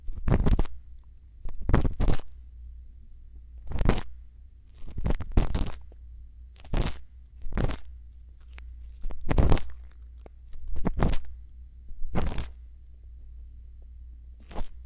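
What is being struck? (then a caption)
Bamboo earpick on a silicone ear microphone. A thin bamboo earpick scratches inside the ear canal of a white silicone ear microphone, making short bursts of close, crunchy scraping and rustling. The bursts come in irregular clusters over a steady low hum, with quiet gaps between them.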